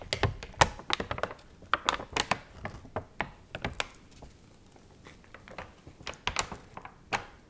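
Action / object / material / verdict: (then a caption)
scrape / paper magazine / paper / none. A dried, water-wrinkled and warped paper magazine has its pages turned, bent and crinkled with long nails. Quick, sharp crackles and dry clicking snaps come in clustered bursts with brief quieter gaps, each crisp with a bright edge and almost no ring.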